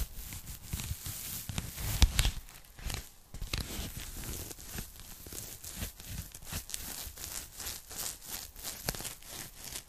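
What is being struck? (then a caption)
Thin polyethylene foam packing bag. A thin pink polyethylene foam packing bag, flat and empty, is held in both hands in front of the mic while long nude nails tap and scratch its surface. The result is a steady run of dry, crinkly scratching with bright rustling texture, broken by soft, quick taps and low muffled thumps. The taps stop almost instantly, with no ring.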